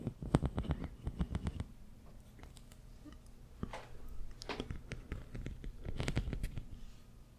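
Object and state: Corrugated plastic tube scratched.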